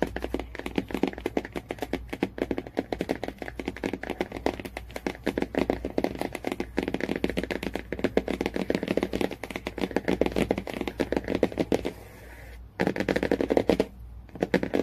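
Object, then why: Laminated cardboard book cover. Long nails tap rapidly on the laminated cardboard cover of a hardcover Jungle Book, making a dense run of short, dry clicks centered in the low-mid range. The tapping pauses briefly near the 12-second mark, then resumes with a few louder bursts before a final short gap.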